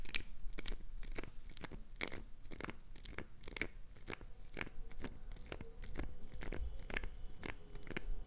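Long acrylic nails scrape and dig into a solid green translucent glycerin soap block, with shavings falling onto carpet. A steady run of sharp, dry crunching and tearing scrapes repeats quickly, each one bright and brief with almost no ring, over a low background rumble.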